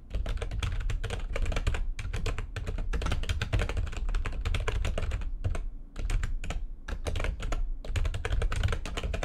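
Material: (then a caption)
Plastic. Both hands type rapidly with long nails on a backlit plastic computer keyboard. A dense, steady stream of quick clicks and clacks sits over a heavy low thump, with short gaps around the sixth and seventh seconds before the fast typing picks back up.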